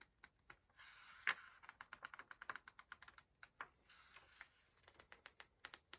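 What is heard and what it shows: Fingertips grip and turn the page edges of an open paperback book with illustrated paper pages. About two dozen short, crisp, bright paper ticks and snaps sound in quick succession, with two softer, longer papery rustles as pages sweep over. Each tick is dry and stops almost at once.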